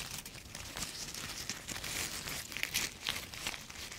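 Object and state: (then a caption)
Dry, brittle maple leaf. A single thin, brittle, dry yellow maple leaf is crumpled and crushed between the fingertips of both hands close to the microphone. It makes a steady, dry crackling and crinkling that is mostly bright and high with little low end, broken by sharper crisp snaps toward the end.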